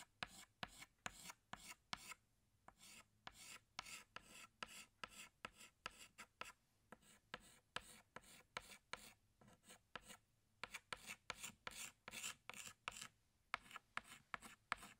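A pink chalk stick is rubbed and scraped along petal outlines on a flat black chalkboard. It makes a quick series of dozens of short, dry, bright scratching strokes with brief pauses between bursts, and each stroke stops sharply with almost no ring.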